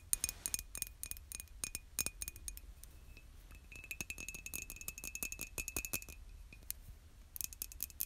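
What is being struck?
Glazed ceramic mug.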